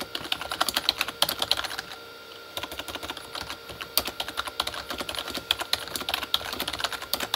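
Fingertips of both hands type fast on a full-size Corsair K35 backlit mechanical keyboard with plastic keycaps on a hollow plastic body. Dozens of short, bright, clicky taps with almost no low end rattle along, pausing briefly around the two-second mark before the typing picks up again.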